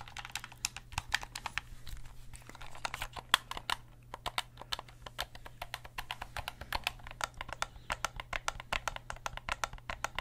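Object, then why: Plastic game controller. Fingertips click and tap the buttons and triggers of a hollow black plastic gamepad held in both hands. Dozens of quick, dry, bright clicks come in an irregular stream with almost no ring, over a faint steady low hum.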